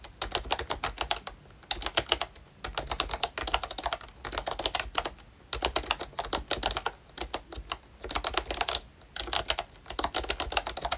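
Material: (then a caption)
Plastic. Fingertips type on a full-size ROYCHE Disney Mickey Mouse retro membrane keyboard with a hollow plastic case and round plastic keycaps. Rapid, bright, dry plastic clicks and taps come in bursts of steady typing, broken by brief pauses, and each keystroke dies away almost instantly.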